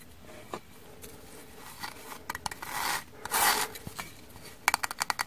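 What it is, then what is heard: Frozen kitchen sponge, frozen stiff. Frozen kitchen sponges, frozen stiff, are tapped, giving hard, sharp clicks instead of soft sponge sounds. Scattered taps and two brief scraping rubs lead into a quick run of bright, dry clicks at the end.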